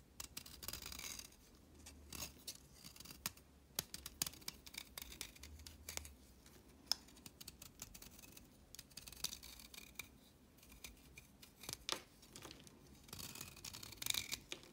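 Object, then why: Chalk stick cut with a blade. A solid orange chalk stick held in the hand is scraped and cut with a red-handled blade. Quiet, bright scratching and crisp snipping cuts come in short bursts, with a faint low hum underneath.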